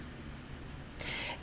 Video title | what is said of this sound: {Thriving During Lockdown} Day 2 Recap - How To Interrupt Comfort Eating | I tap it when it's empty it's very alive very resonant